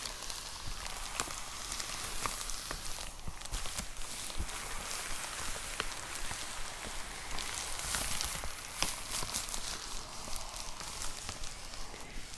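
Long nails tap and scratch across the surface of a white plastic poly mailer envelope with a box inside. A steady, soft crinkling rustle fills the clip, dotted with quick, light taps. The scratching has a bright, high hiss throughout.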